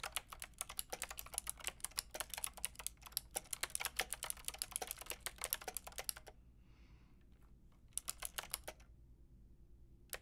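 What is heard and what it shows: Long painted nails and fingertips type on a white-pink backlit mechanical keyboard with round plastic keycaps, producing bright, sharp clicky taps. Rapid, steady typing runs for about six seconds, stops, then a short burst of keystrokes follows around the eighth second, and a single tap closes the clip.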